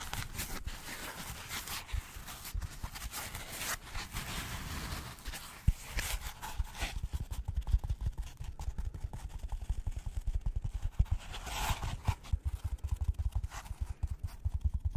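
A white polystyrene foam packaging insert with recesses, held close to the mic, is tapped with gloved fingertips. The result is a steady stream of soft, dull, low thuds that stop almost instantly, mixed with brief bright, hissy scratching bursts.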